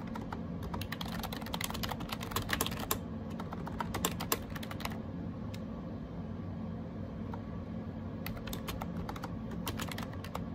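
Bare fingertips type on a gray AJAZZ 308i wireless Bluetooth keyboard with round plastic keycaps and a hollow plastic case, lying on a desk with a tablet beside it. Quick, bright plastic key clicks come in bursts, thin out to a few scattered taps in the middle, then pick up again. A steady low hum sits underneath.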